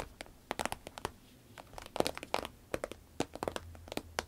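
Long red nails tap, scratch and squeeze a small, hollow, soft cylindrical pencil case made of shiny green vinyl with a zip. The result is an irregular run of sharp, bright crinkles and clicks, each dying away almost instantly, over a faint crackle. It has little low end and a papery midrange tone.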